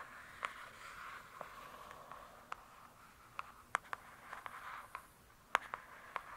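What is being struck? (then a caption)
Hardcover book with glossy cover. Long nails scratch and tap the glossy cover of a "True Crime" hardcover book. A soft, airy scraping hiss centered around 1 kHz runs underneath thirteen sharp, brief clicky taps spaced irregularly across the clip, with almost no low end.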